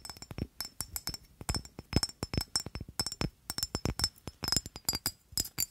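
Long nails tap and scratch an amber rectangular glass perfume bottle with a black cap, held in front of the mic. The result is a quick, uneven string of sharp, bright clicks and clinks with faint high glassy ringing that dies away almost at once between taps.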